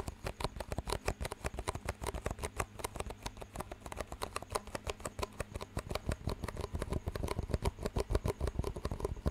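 Two identical clear, hollow, empty disposable plastic cups with green rims are tapped and squeezed with fingertips, and their rims are knocked together. The result is a fast, steady run of dozens of short, dry clicks and crinkly taps that die away almost instantly, over a faint low hum.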